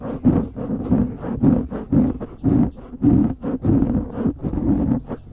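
Fingers cup, squeeze and scratch the top of a dark grey foam windscreen on a microphone. The result is a steady run of close, muffled rustling bursts with a low, boomy body around 250 Hz and almost no bright content, rising and falling in loose, uneven pulses.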